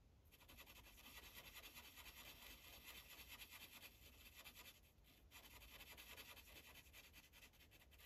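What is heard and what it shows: A dark green Sharpie felt tip rubs in small circular coloring strokes across a thin paper coloring page resting on a clipboard. The result is a steady, bright, scratchy rubbing that dips briefly about five seconds in and then picks back up.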